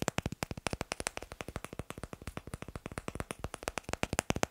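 Fingers tap quickly on wooden blocks in a steady, dense run of about 44 short, dry knocks. Each tap has a mid-pitched woody tone with bright clicky edges and stops almost instantly with no ring.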